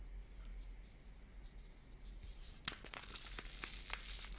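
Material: Plaster, foam.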